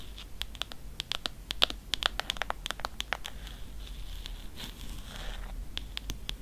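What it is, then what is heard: Hardcover book tapped and scratched with nails. Long nails tap and scratch the embossed spine of a thick Grimm's fairy tales hardcover with a faux-leather cover. Many quick, sharp ticks and scrapes sit over a faint low hum, with a short stretch of steadier scratching near the end.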